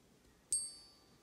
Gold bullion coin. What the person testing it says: sounds uh way different and it also has a longer pitch longer ping